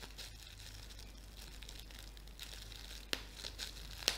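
A thin, flexible sheet of clear plastic bubble wrap with air-filled bubbles is held in both hands and crumpled and squeezed with fingertips and painted nails. A quiet, steady, bright crinkling runs throughout, broken by two sharper crackling snaps near the end.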